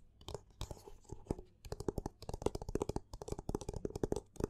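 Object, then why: Paperback book with textured card cover. Fingers and nails scratch and rub the textured cover and side edges of a black paperback book held in both hands. The result is a quiet, rapid run of short, dry, crunchy scratches with a faint low rumble underneath.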